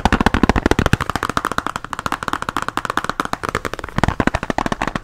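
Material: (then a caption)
Hard plastic. Fingernails tap on a closed pink translucent hard plastic pencil case with pens inside, held close to the microphone. A fast, uneven run of short, dry clicks with almost no ring, carrying a clear mid-range knock and a faint low body.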